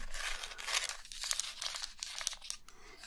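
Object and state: Plastic blister pack being tapped and crinkled.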